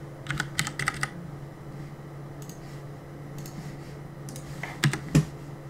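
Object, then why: Plastic mechanical keyboard keys. A black plastic CM Storm mechanical keyboard on a desk is typed on during gaming, with fingertips pressing and tapping its plastic keycaps. A quick burst of clicky keystrokes opens the clip, a few soft taps follow over a steady low hum, and two louder, sharper key hits land near the end.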